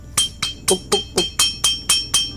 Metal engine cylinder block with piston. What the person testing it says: Bunyi dia tu seolah-olah macam tu, puk puk puk. Dia macam seolah-olah bunyi lonceng.